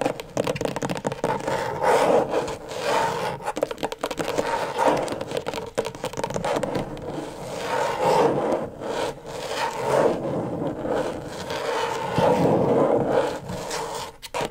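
Long stiletto nails and fingertips scratch and rub across the plastic surface of a flat, thin, backlit rectangular LED tracing pad. The result is a continuous rough, dry scraping texture with a midrange hiss, broken by quick, uneven strokes and taps.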